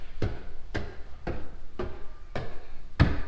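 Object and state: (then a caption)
Solid staircase treads. Footsteps climb the wooden staircase treads of a new home under construction, pausing on each tread to listen for hollow sounds or movement. Six dull, low thuds land at a steady pace, each dying away quickly with no ringing. The treads sound solid, with no hollow pockets or shifting.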